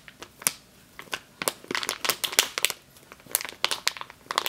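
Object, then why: Plastic bag filled with flour. Long green-nailed fingers crinkle and squeeze a medium clear plastic bag with a yellow label, full of flour or grain. Sharp, bright plastic crackles come in quick irregular bursts over a quiet background, with almost no low end and very little ring after each burst.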